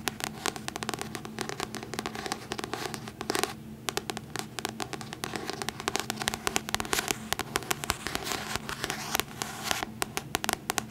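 Long nails tap and scratch across the paper cover of a solid paperback copy of The Hobbit held upright. The result is a dense run of quick, dry, crackly clicks and scrapes with bright, high detail, a brief lull just before the four-second mark, and then steady tapping to the end.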